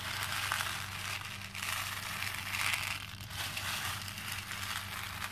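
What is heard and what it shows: Fingers press into and stir a pink plastic bowl full of small cream plastic faux pearl beads. The result is a steady, bright crackling and crunching rattle of beads shifting against each other and the bowl, with a faint low hum underneath.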